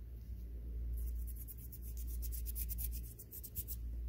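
A black faux-leather hardcover diary with gold print, a solid flat book held up close, is scratched and tapped with fingertips and nails. After a quiet first second, a run of quick, bright scratching strokes comes in rapid bursts over a steady low hum.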